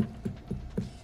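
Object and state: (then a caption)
Hollow-sounding boiling breadfruit. A breadfruit boiling in a pot is tapped three times to judge how far it has cooked, giving short, low, hollow drum-like knocks. It sounds hollow, and it is left to boil for roughly another half hour before straining.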